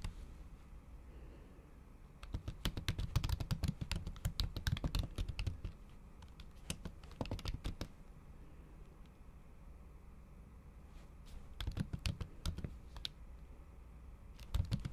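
A MacBook keyboard covered by a thin pink patterned plastic/silicone cover is typed on with the tips of long acrylic nails, in fast repeated taps on the solid keys underneath. Dry, muted clicks and low, soft thuds come in irregular bursts, with the densest flurry early on and shorter runs later, separated by quiet pauses over a faint steady hiss.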